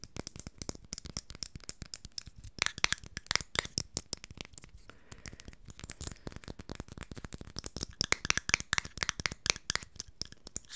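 Long fingernails rapidly tap and scratch the silver metal screw lid of a small jar with a blue label, held close to the microphone. A dense, irregular stream of sharp, bright clicks and scrapes fills the clip, with little low end and almost no ring after each hit. Some bursts near the start and end are louder and crisper.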